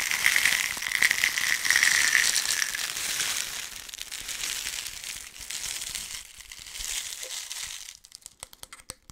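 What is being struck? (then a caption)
Plastic bottle holding loose steel BB pellets. A small red and black plastic BB container, apparently holding loose steel BB pellets, is held in both hands close to the mic and shaken and turned. The pellets make a dense, bright, hissing rattle with a ringing tone near 2 kHz that slowly eases off. In the last second it thins to a few sharp, separate clicks as the pellets settle.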